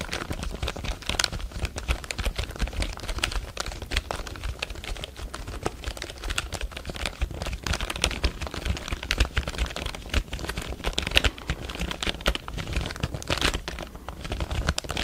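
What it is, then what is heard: Plastic computer keyboard being typed on. Fingertips tap and press the keys of a full-size black plastic computer keyboard held close to the microphone. A dense, steady stream of quick, dry, bright clicks follows, with a low rumble underneath and a faint crinkle-like rustle at times.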